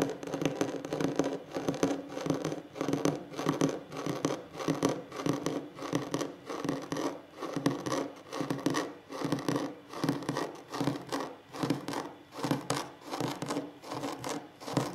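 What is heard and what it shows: Short fingernails scratch the surface of a large, solid wooden tabletop in quick, rhythmic back-and-forth strokes. The result is a steady run of dry, raspy bursts with a woody midrange tone, each fading quickly, repeating for the whole clip.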